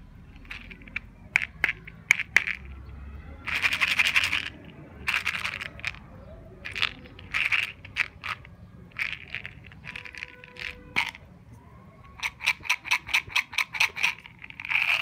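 A small red plastic Mini'Z tube, hollow and full of sugar-coated chocolate candies, is held in the hand and shaken, giving bursts of bright, dry rattling as the candies knock against the plastic. Between bursts come sharp ticks and clicks, then a run of quick, evenly spaced rattles near the end. The plastic flip cap is opened with the fingers.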